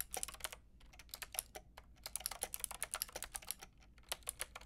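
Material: Plastic.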